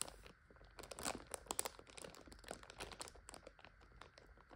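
Long nail tips tap and scratch the plastic wrapper of a full multipack of instant noodles lying flat. The result is a quiet, continuous run of crisp, bright crinkles and crackles, with short sharp taps that cut off almost immediately.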